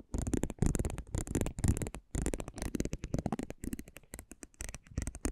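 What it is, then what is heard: Cardboard trading card. A metal spiked pinwheel is rolled across the surface of a small, thin cardboard basketball trading card held in the fingers. It makes bursts of rapid, dry clicking and crackling ticks with a soft low body, repeating in short irregular passes.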